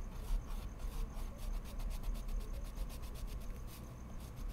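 A colored pencil tip scratches steady shading strokes on a large flat sheet of white mixed media paper resting on a wooden desk while the other hand holds spare pencils still. The rhythmic, dry scratching comes in repeated bright bursts over a constant low rumble.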